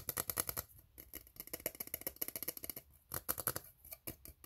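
Fingernails scratch quickly along the ribs of an empty, hollow, ribbed steel tin can, making a rapid series of short, bright rasping clicks with a thin, high metallic edge. Each scrape stops almost at once with little ring, and the bursts come in quick runs separated by brief pauses.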